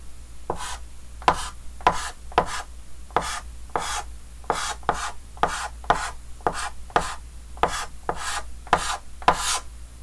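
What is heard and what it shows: A red chalk stick held in the fingers scratches and rubs quick hatching strokes across a large, flat, dark green wooden-framed chalkboard. Each stroke makes a short, dry, raspy scrape with a bright hiss on top, repeating in a steady rhythm over a faint constant low hum.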